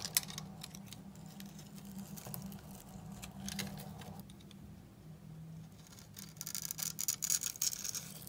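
A hand-sized, dry, solid blue bar of soap with a scored grid surface is held in the palm and scraped with a steel utility knife blade. The scraping gives bright, crisp, dry crunching and crackling, fairly quiet at first and then growing into louder, sharper bursts near the end. A steady low hum runs underneath.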